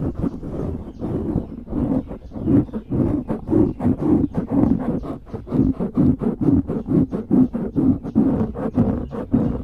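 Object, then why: Foam microphone windscreen. Fingers cup, squeeze and scratch the top of a dark grey foam windscreen on a microphone. The result is a steady run of around two dozen muffled, rumbling scratch bursts at an uneven, fairly quick pace. The sound sits mostly in the low and low-mid range, with little brightness.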